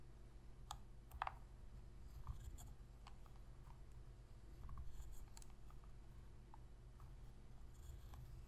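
Long pink fingernails scratch and press the buttons of a hollow black plastic Sony PS3 controller. Quiet, short clicks and scratchy taps come scattered over a steady low rumble, each dying away almost at once.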